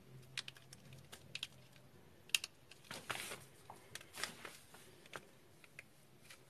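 A red-handled box cutter blade shaves and scrapes the edges of a solid yellow bar of soap held in one hand, over a pile of yellow soap chips. Quiet, crisp, bright clicks and ticks sound as the blade bites in, with short, dry scraping swishes in between. Each cut dies away almost instantly.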